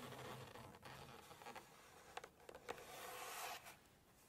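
Long nails scratch the glossy pages of a large hardcover Chinese cookbook, turn a page, and scratch again. Soft, bright scraping and rustling carries through, broken by a few sharp ticks and crisp paper flicks before settling back to quiet.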